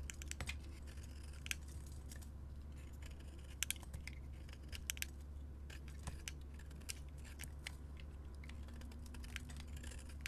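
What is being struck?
Soap bar scraped with a metal blade.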